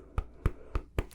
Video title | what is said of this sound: ASMR Teacher 👩🏻‍🏫 Teaching You About Your Five Senses | knock on an apple because it's hard just like your front door it's going to make a nice knocking sound